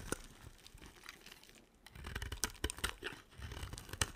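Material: Soap.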